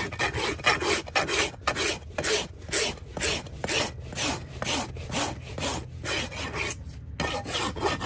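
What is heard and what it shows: A large flat steel rasp is pushed in long strokes across the sole and wall of a freshly trimmed horse hoof of solid keratin horn, held between a farrier's leather-chapped knees. About 19 gritty, bright rasping strokes come in a fairly steady rhythm, each a short scraping burst with little low end.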